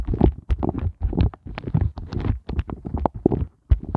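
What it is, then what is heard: Silicone heart ice cube mold. Fingertips and glittery-polished nails tap and scratch quickly across the raised heart bumps of an upside-down pink flexible silicone heart ice cube mold lying on a fluffy surface. The result is a dense run of soft, muffled, low thumps and rubbery scratching in short bursts, with little brightness and almost no ring.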